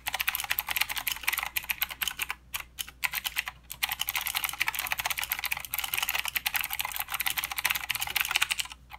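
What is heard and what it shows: Fingertips of both hands type continuously on a full-size mechanical keyboard with plastic keycaps and blue clicky switches. The result is a rapid, bright, clicky clatter of short, sharp keystrokes with almost no low end, broken only by a few brief pauses.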